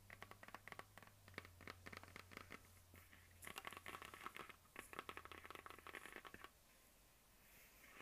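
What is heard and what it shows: Long dark nails of both hands tap and scratch across a medium hollow plastic map globe on a stand, making a rapid, bright run of clicky taps and scraping scratches over a faint low hum. The tapping stops at about six and a half seconds, leaving only a quiet hiss.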